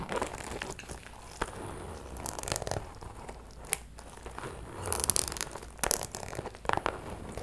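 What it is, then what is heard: Faux leather purse scratched and tapped with nails. Long metallic nails scratch and tap a closed, hollow, small pink metallic faux leather purse. Soft, crinkly scratching runs throughout, broken by sharp, bright taps that stop almost instantly.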